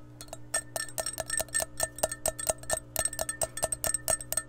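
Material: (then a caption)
Glass. Long painted nails scratch and tap an empty, clear glass measuring cup with red markings, held close to the microphone. The result is a rapid, uneven run of sharp, bright clicks, each with a brief glassy ring near 640 Hz, over a faint steady low hum.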